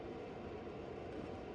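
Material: Nothing is struck.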